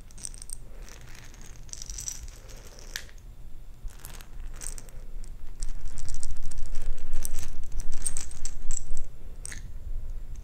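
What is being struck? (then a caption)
Jar of small plastic beads. A jar filled with small plastic perler beads is shaken and handled, giving a crisp, bright rattling of beads clicking against each other and the jar over a steady low hum. The rattling grows louder and denser in the middle of the clip, then eases back to quieter shakes near the end.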